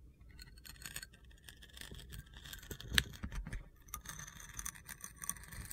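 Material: Soap.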